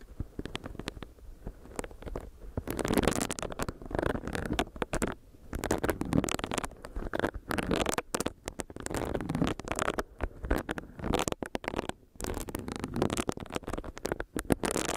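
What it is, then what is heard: Silicone face scrubber, tapped and scratched. Long nails tap and scratch a small, solid pink silicone facial brush, and its bristle side is rubbed directly against the microphone. The result is close, muffled rubbing and scratchy crackles in dense irregular bursts, mostly low and mid in tone with brief brighter flicks and short quiet gaps between strokes.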